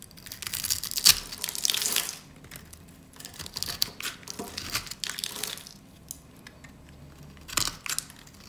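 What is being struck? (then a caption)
Bar of soap cut with a blade. A metal utility blade cuts scored cubes off a solid yellow rectangular bar of dry soap held in the hands, so they crumble away. Crisp, bright crunching and crumbling bursts come in clusters, with brief quiet gaps between cuts.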